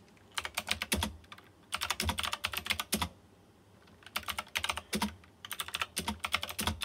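Fingertips type on a white plastic mechanical keyboard with round chrome-rimmed keycaps. Sharp, bright clicks come in four quick bursts separated by short pauses. Each keystroke is crisp and dies away almost instantly.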